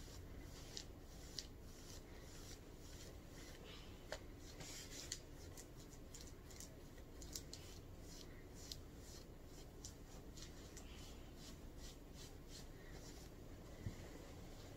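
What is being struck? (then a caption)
Ribbed knit cotton shirt scratched with fingernails. Long purple nails scratch the chest of a mustard ribbed knit cotton shirt being worn, making quick, dry rasping strokes. The repeated scratches are bright and crisp, each fading almost at once over a soft, steady low background hiss.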